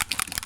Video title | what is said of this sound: Gpaint by Studio G review - Pre-thinned lacquer paint for use in an airbrush | Give it a shake. You can hear the ball bearing, or whatever it is, inside the bottle.